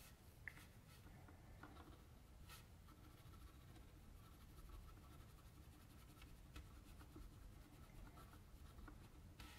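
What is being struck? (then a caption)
Mechanical pencil on a sheet of drawing paper. A metal mechanical pencil tip scratches shading onto the cheek of a sketch on a flat white sheet of drawing paper resting on a table. The quiet, steady scratching is broken by a few brief, sharp ticks, over a low rumble that dominates the background.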